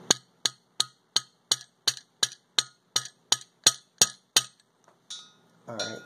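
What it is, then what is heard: Fully seated valve stem seal. A light mallet taps an 11 mm socket resting on the rim of a valve stem seal on a cylinder head, driving the seal down. Thirteen sharp, bright metallic clinks come at a steady pace, each dying away almost instantly, followed by quieter scraping and handling noise. The tapping tone changes as the seal seats, showing it is fully seated.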